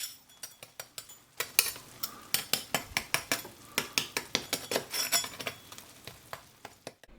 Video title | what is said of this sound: Jarrets de porc croustillants au four / Sweinhaxn allemand pour Oktoberfest - Recette # 208 | il y a une couenne super croustillante autour de chaque jarret